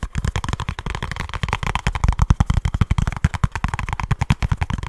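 A small kraft cardboard box with a barcode is tapped and scratched with fingertips and short nails right at the mic. About thirty-four fast, dull, bassy thumps follow each other with almost no ring, mixed with papery scratching between them.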